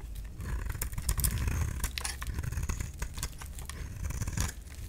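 A solid light-green rectangular bar of soap is scraped with a utility knife, peeling strips of soap off the bar. The sound is a continuous series of short, crisp scraping and shaving strokes with bright high edges over a low, dull rumble.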